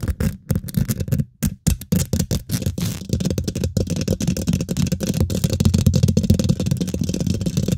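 Fingernails rapidly scratch and tap a hollow steel wire-mesh microphone grille, producing close, boomy thumps and rustling scrapes with a deep low-end rumble around 86 Hz. The first few seconds are choppy, separate taps with brief silences between them, then the sound thickens into a dense, continuous scratching and tapping.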